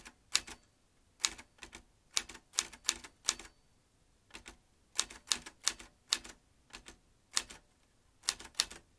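Fingertips tap the round keys of a vintage metal manual typewriter in uneven bursts, each keystroke a sharp, bright metallic clack that dies away almost instantly. The strikes come in quick clusters with short pauses between them, with almost no low-end weight.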